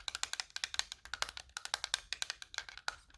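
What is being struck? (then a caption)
Plastic game controller. A light plastic Super Nintendo controller is tapped quickly, giving bright, hollow, wood-block-like clacks. About 23 short, dry taps occur in just over three seconds, with almost no ring after each one.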